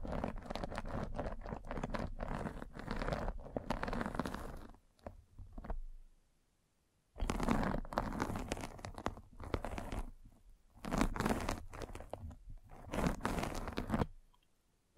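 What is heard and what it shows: A metal-spiked derma roller is rolled down the side of a white fabric mesh net stretched over a round microphone head. It makes dense, crunchy, scratchy rolling with a heavy low rumble, in long passes broken by brief quiet pauses.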